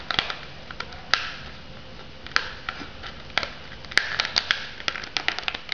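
Long nails tap and scratch the lid and rim of a shrink-wrapped foam noodle cup. There is a quick, irregular run of sharp, bright clicks and ticks with soft crinkly scratching between them, each tap dying away almost instantly.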